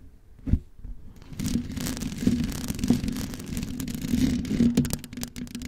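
Long white acrylic nails on both hands tap and scratch the white metal mesh grille of a large hollow USB studio microphone in the Blue Yeti style. A sharp tap opens the clip, followed by dense, fast scratching and rubbing with a low, hollow, boomy body. Further taps punch through now and then, with bright crackly scrapes on top.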